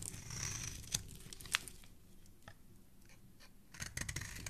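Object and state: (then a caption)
Bar of soap being shaved. A metal blade edge repeatedly scrapes and shaves the corner of a solid red bar of soap held in the hand, and pink flakes pile up below. Soft, bright, crisp scraping rasps come with a couple of sharper clicks early on. A quieter stretch follows before the shaving picks up again at the end.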